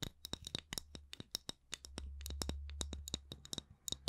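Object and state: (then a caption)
Wooden candle lid. Fingers tap and scratch the wooden lid of a candle, producing about 26 short, dry clicks with a bright tone and almost no ring. A steady low hum sits underneath, swelling through the middle of the clip.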